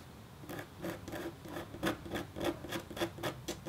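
A metal-tipped, red-handled stylus scratches across a thin, solid, flat copper foil scratch art board coated in black. It makes a series of short, dry scraping strokes at an uneven pace, each with a gritty, bright hiss and a faint tonal edge, separated by soft quiet gaps.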